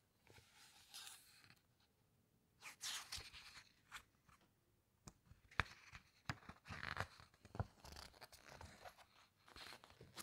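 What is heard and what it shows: Fingertips rub the glossy paper pages of a large hardcover book, then a page is lifted and turned, giving soft bright rustling and crinkling with a few sharper snaps between quiet gaps.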